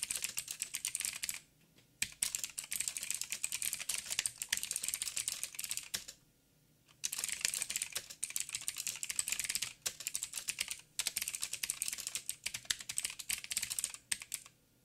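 Fingertips type on a backlit mechanical keyboard with plastic keycaps and blue clicky switches. Bright, dense runs of clicky keystrokes come in bursts separated by brief pauses near 1.5, 6 and 11 seconds.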